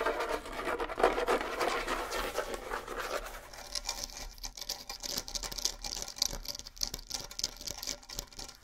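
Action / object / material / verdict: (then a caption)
scrape / small bongo drums with rawhide heads / rawhide / none. Fingernails scratch the rawhide heads of a pair of small, hollow bongo drums, making a dry, steady rasping patter. For the first few seconds the scratching sounds fuller in the midrange, then it turns thinner and brighter, with quick, uneven ticks and little ring after each stroke.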